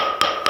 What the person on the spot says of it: 이게 소리가 일정하게 나야 되는데 바닥이 들떠 있으면 안에가 텅 비어 있는 소리가 나는 공간이 있거든요